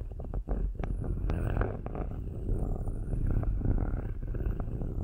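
Metal-tipped sticks held in long-nailed fingers scratch and rub the metal mesh grilles on top of two black cylindrical microphones. The result is a steady, low, rumbling scrape, heavy in the bass, broken by quick dry ticks and brief brighter scratches.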